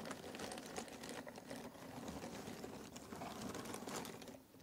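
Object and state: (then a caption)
Cardboard jigsaw puzzle pieces being stirred. Fingers rake and stir through a pile of cardboard jigsaw puzzle pieces in a box, making a dense, steady stream of dry clicks and papery rustles with bright, crisp ticks. The clatter holds an even level throughout, dips briefly near the end, and closes on one sharp click.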